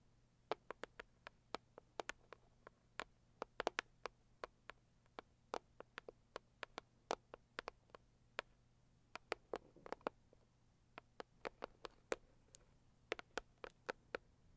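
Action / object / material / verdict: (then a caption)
tap / closed cardboard box / cardboard / none. Long acrylic nails tap and scratch the lid of a medium, closed, hollow pink floral cardboard gift box. About fifty quiet, sharp, dry clicks land in an uneven, quick rhythm with almost no ring, centered near 680 Hz with bright edges. A faint low hum sits steadily underneath.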